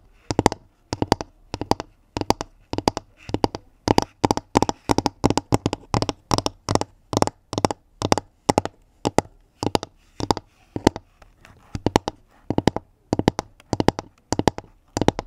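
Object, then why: Pine-wood basket lid. Long nails and fingertips tap on the round, flat pine-wood lid of a pink woven basket that is hollow beneath. Quick clusters of sharp, dry clicks repeat steadily throughout, each tap dying out almost instantly with a faint hollow knock underneath.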